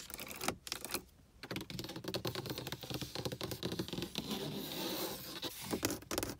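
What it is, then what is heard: Car dashboard plastic panel. Long acrylic nails and fingertips tap and scratch the upper dashboard of a car under the windshield, a large, hollow, textured dark plastic or vinyl panel. Dense, quick clicky taps mix with raspy scratching in a steady patter, broken by a brief quiet pause near the first second.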